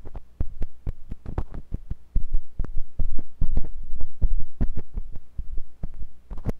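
A thin, pointed metal sculpting tool with a wooden handle, held by fingers with long pink nails, scratches and pokes inside the ear canal of a white silicone ear on a block-shaped binaural microphone. It makes a rapid, irregular stream of close, muffled thumps and short scratchy clicks over a deep, steady low hum. The sound feels heavy and pressing, and nearly all of it sits in the low bass.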